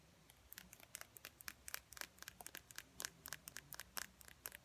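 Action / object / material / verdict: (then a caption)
tap / slim plastic lip gloss tube with metal cap / plastic / none. Long fingernails tap a small, slim, hollow plastic lip gloss tube with a silver metallic cap, held up in the air. About two dozen quick, dry clicks come in irregular bursts, each bright and sharp with almost no ring, over a faint background hiss.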